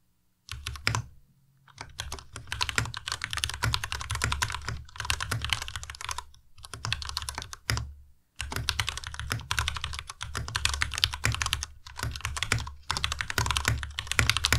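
Fingertips of both hands type continuously on a compact white Ducky Miya Pro mechanical keyboard with white plastic keycaps and Cherry MX Red switches. Rapid bright key clatter with a low thump under each press runs in bursts, broken by short pauses.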